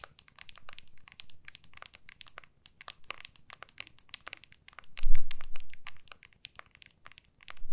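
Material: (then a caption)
Hard plastic. Long nails rapidly tap and scratch the back of an iPhone in a clear hard plastic case, held in both hands. A steady stream of crisp, bright clicks and scratchy ticks fills the clip, with soft, low handling thumps swelling around the middle and again at the end.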